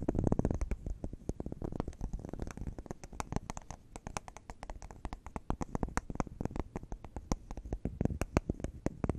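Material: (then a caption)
Wax. A hand-sized solid wax candle shaped as a cube of round bubbles is held in the hands and tapped and scratched with long neon acrylic nails. It makes a dense stream of quick, dry clicks and soft taps with a dull, low-heavy body and faint bright ticks on top, each sound dying away almost instantly.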